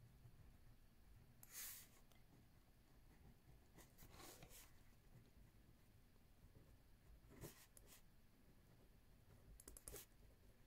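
A ballpoint pen, held left-handed, writes lines of text on a lined paper notebook pad resting on a wooden table. Short bright scratching bursts rise over a quiet, low background hum.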